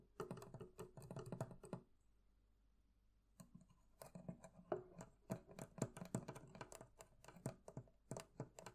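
Fingers tap on the metal fittings of a barrel chest in quick clusters of short, dull clicks with little ring. A brief pause in the middle is followed by steadier, slightly louder taps until the end.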